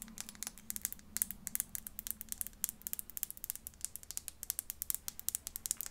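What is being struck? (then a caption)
Small glass bottle. A tiny glass bottle is tapped and scratched with the fingernails, giving a rapid run of about 40 sharp, bright clicks and scratches. The sound sits mostly in the high frequencies over a faint, steady low hum.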